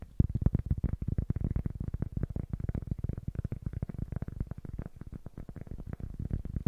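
A small, solid-looking rectangular cork block or pad is held upright in both hands in front of a stereo microphone while fingertips and short nails tap its face quickly. The result is a steady stream of rapid, soft, dull taps with a deep, low thump around 90 Hz, almost no high content, and no ring after each hit.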